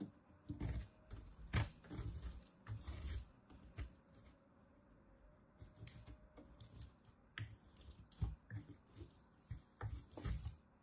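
A small solid bar of soap, held in the fingertips, is scraped up and down a metal box grater, grating off shavings. The scrapes come as a series of short, dry, rasping strokes with a thick low body and a faint bright crackle, each cutting off quickly. A quieter stretch in the middle separates the two busier runs of grating.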